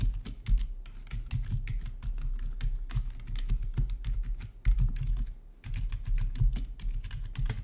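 Fingertips type steadily on a full-size black plastic RGB backlit membrane gaming keyboard with a hollow body. Fast, dense taps blur together rather than standing apart, each a short, bright click over a low, muffled thump. The keys give a soft, hollow patter with a deep low-end body.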